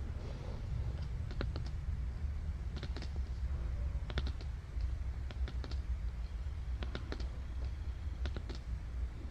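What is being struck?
Thick glossy cardboard board book page.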